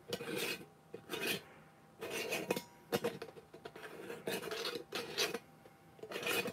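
Fingertips and nails scratch and rub the threaded neck and rim of a medium-sized, hollow, empty clear plastic jar with its lid off. The result is a series of raspy, bright scraping bursts separated by short pauses, with a hollow midrange ring around 480 Hz.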